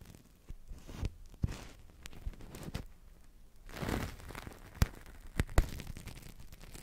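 A large, hollow, thin, translucent blue plastic-film bubble blown from a Crystal Ball toy rests on the mic and is squeezed and crinkled with fingertips and long nails. Soft, close, irregular crinkling and rustling is heard, broken by sharp crackles and snaps. The sound is muffled and bass-heavy, with a few louder pops standing out.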